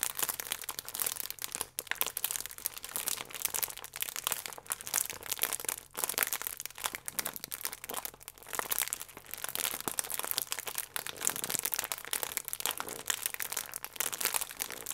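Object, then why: Plastic croissant wrapper. A plastic croissant bag, held at an angle, is squeezed and scratched by fingers and long nails. The result is a steady stream of bright, sharp crinkling and crackling with almost no low end, pausing briefly around 1.8 and 6 seconds before continuing.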